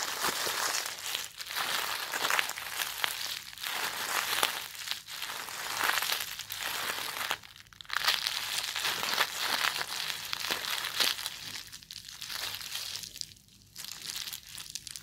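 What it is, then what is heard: Thin plastic bag. A thin white plastic bag, balled up small, is squeezed and crushed between both hands and fingertips with red nails. It makes a steady, bright crinkling and crunching that carries through the whole clip. The sound has little low end and only brief dips in loudness.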